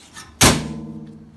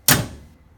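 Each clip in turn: First: tinny, loosely backed UTV door panel. Second: UTV door closing solidly.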